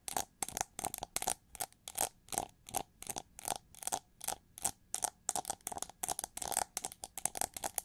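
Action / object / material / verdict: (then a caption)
scrape / chrome-plated plastic hair brush with ridged relief / plastic / none. Long nails scratch and tap the ridged feather relief and smooth head of a gold chrome-plated plastic eagle-shaped hair brush held by the handle. About 34 short, dry, bright scratchy bursts come in an uneven rhythm, each with a faint hollow tone near 750 Hz. They stop dead with no ring, over quiet silence.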